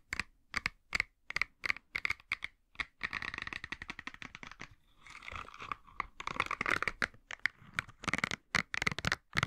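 Fingertips scratch and flick the nubs of a green silicone bristle scrubber, and hands flex the pad. Sharp, bright, dry snaps ring out one by one before giving way to a dense, crackly scratching run, then a softer rustle as the pad bends. Quick, clicky flicks with almost no ring follow, centered around 1.9 kHz.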